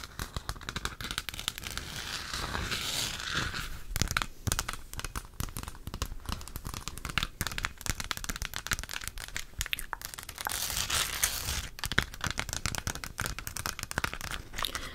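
Long acrylic nails tap and scratch all over a hollow plastic galaxy moon lamp, lit pink and held up. The result is a dense, continuous stream of sharp, dry clicks and scratchy rasps with bright crinkly texture and very little ring, swelling in brief busier bursts throughout.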